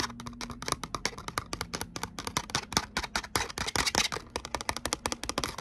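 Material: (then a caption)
Cardstock. Long nails tap and scratch the surface of a thin gold glitter cardstock letter "O" with punched holes. The result is a fast, steady stream of crisp, bright clicks with a dry, scratchy hiss between them. Each tap dies away almost instantly.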